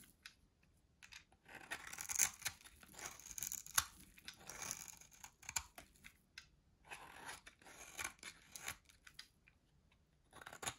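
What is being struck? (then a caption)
Bar of soap cut with a blade. A solid white dry soap bar held in the hand is shaved and carved with a metal box-cutter blade. Quiet, bright, crisp scraping and crunchy shaving strokes come in short, uneven bursts with brief pauses between them, with almost no low end.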